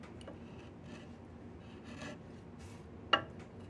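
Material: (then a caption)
Wood. A flat chisel scrapes along a solid diamond willow walking stick, making quiet, breathy rasping strokes over a low hum. Near the end, one sharp, bright click stands out and dies away almost at once.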